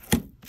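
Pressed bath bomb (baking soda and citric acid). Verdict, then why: Dry. Finished game-controller-shaped bath bombs, pressed from baking soda and citric acid, are knocked together. They give a short, dry, hard knock with a low-mid tone around 230 Hz that stops almost at once, much like ceramic. The hard, clicky sound shows the bath bombs are rock hard and perfectly dry.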